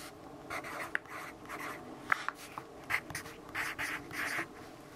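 A yellow wooden pencil, held in the fingers, writes and scratches across a page of an open lined paper notebook lying thin and flat on a wooden table. Short bursts of dry, hissy scratching come in quick strokes, broken by a few sharp little ticks and centered around 1.3 kHz. Each stroke stops cleanly, with almost no ring and very little low end.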